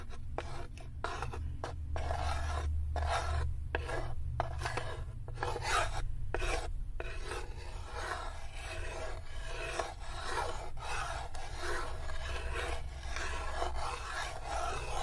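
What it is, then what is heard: Wooden tray scratched. Long nails rasp and scratch along the inside corner of a light, unfinished, open and empty wooden serving tray. Short, dry scraping strokes with brief pauses give way to a steadier, continuous rasp over a low background rumble.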